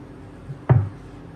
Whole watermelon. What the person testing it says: now that sounds hollow right there, doesn't it?